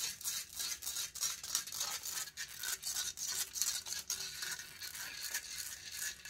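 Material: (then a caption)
Metal mesh. Long fingernails rapidly scratch and rub the hollow metal mesh grille of a silver condenser microphone. The result is a dense, bright, hissing scrape with almost no low end, pulsing in quick, irregular strokes at a steady moderate level.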